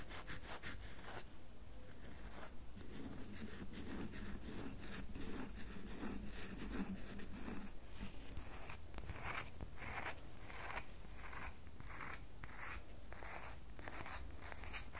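A solid red bar of soap lying in a palm is rubbed and scratched with long fingernails. It makes a steady run of quiet, dry, bright scratching strokes. Between about 3 and 8 seconds there is a softer, lower rubbing tone underneath.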